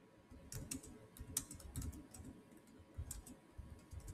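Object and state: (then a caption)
Laptop plastic keyboard typing. Fingertips type continuously on the solid keys of a black plastic chiclet keyboard on a silver Samsung laptop. Quiet, short, bright clicks come in an uneven stream over a soft low background, each tap dying away almost at once.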